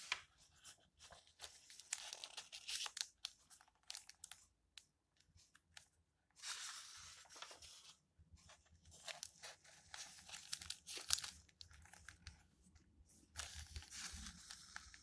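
Fingers with long nails turn the thin, yellowed pages of an open old paper book, so the paper flexes and rustles. Quiet, bright crinkling and papery tearing-like swishes come in bursts, separated by short silent gaps.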